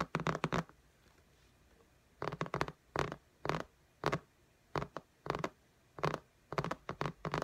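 Fingertips and long nails tap and patter on the glass screen of an iPad lying flat in a pink case. Quick, dry clicking taps come in short clustered bursts separated by near-silent pauses, each tap dying away almost instantly.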